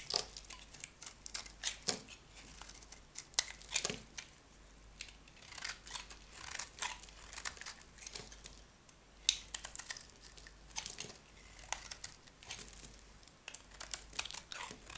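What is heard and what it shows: A metal utility knife scrapes and carves flakes from a solid, rectangular, dry cream soap bar held in the hand. Bright, crisp scraping and crackling strokes come in quick, uneven bursts throughout, each dying away almost at once. Flakes of soap are shaved off the bar.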